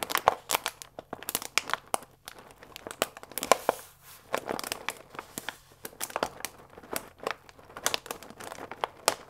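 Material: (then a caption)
Paper. A full paper fusilli bag with a plastic window is held upright and squeezed and crinkled with fingertips and nails. Dense, dry crinkling and crackling snaps come in quick irregular bursts, bright and papery with sharp attacks and almost no low end.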